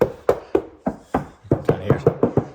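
Eleven quick knocks on a car door's metal skin, treated with about 90% coverage of constrained layer damper, give short, dull thuds centered around 500 Hz that die out almost instantly. Some hollowness can still be heard, and part of the sound comes from the door glass.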